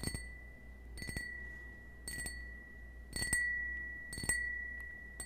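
Fingernails tap a small, hollow, empty cut-crystal stemmed wine glass held in the hand, in a loose series of light clicks. Each tap rings a thin, steady tone near 1.9 kHz with bright overtones, and the tone fades over about half a second.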